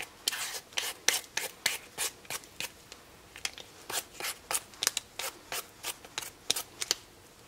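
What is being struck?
Raw potato scraped with a vegetable peeler.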